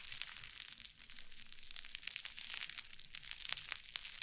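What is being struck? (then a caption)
Fluffy cloud slime pressed and scratched by fingertips and nails. A flat mound of fluffy white cloud slime on a wooden table is pressed and scratched with fingertips and long painted nails. It gives a steady run of crisp, bright crackling and crunching with quick little pops scattered throughout and almost no low end.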